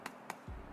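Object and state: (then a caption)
Baked-through bread loaf. Two light, hollow taps land on the slightly burnt top of an air-fried garlic and herb bread loaf, each a short dry knock that dies away almost instantly. A low rumble follows the second tap. The sound shows the loaf is perfectly cooked through, with air pockets and a soft inside.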